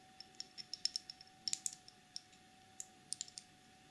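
Long nails tap and scratch a small clear plastic cosmetic jar with a black screw lid, full of gold loose glitter. A series of quick, bright clicks comes in irregular clusters, each dying away almost at once over a faint steady hum.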